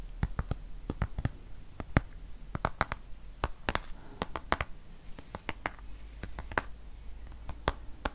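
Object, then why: Plastic squeeze tube of cream. A dark green plastic squeeze tube of cream, hollow and partly filled, is tapped and scratched with long fingernails. Sharp, dry clicks and taps come in an irregular stream with very short ring, over a low background and faint scratching.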